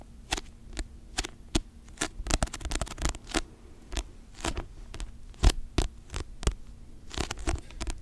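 Long nails tap and scratch the cover of a paperback novel held upright close to the microphone. Quick, dry, bright clicks come in irregular bursts and cut off almost at once, with soft scratching between them. A steady low hum runs underneath.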